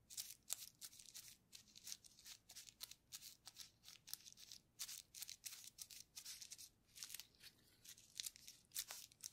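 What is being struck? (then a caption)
Plastic bubble wrap sheet. A paintbrush loaded with purple paint is rubbed and dabbed over a flat sheet of clear plastic bubble wrap with air-filled bubbles, painted in colored stripes and lying on a table, while a gloved hand steadies the sheet. The result is a quiet, rapid series of bright, crisp, scratchy bursts with almost no low end, each stroke starting and stopping abruptly.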